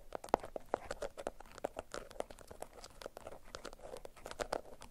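A yellow bundle of beeswax-coated cotton food wrap is held in both hands, then crinkled and scratched with long acrylic nails. The result is a quiet, steady stream of dry crackles, crisp snaps and short scratchy bursts that stay mostly in the mid range and die away almost at once.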